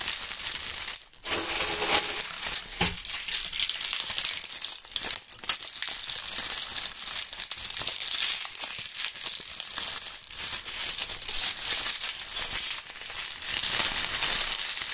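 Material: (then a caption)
Dry leaves. Clusters of dry, brittle brown maple leaves are crushed and crumpled between gloved hands and fingertips over a pile of leaves. The result is a steady, dense, bright crackling crunch made of many sharp, quickly fading snaps, with almost no low end. The crunching drops out briefly near the start and then continues unbroken.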